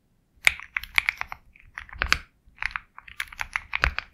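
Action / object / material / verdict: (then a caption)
tap / mechanical keyboard with plastic keycaps / plastic / none. Fingertips type steadily on a Sugar65 compact 65% mechanical keyboard with KTT Kang White switches, a black case, and white and black plastic keycaps. Short, bright keystroke clicks centered around 2 kHz come in quick irregular bursts with small pauses between them. Each click decays almost instantly, with very little low end.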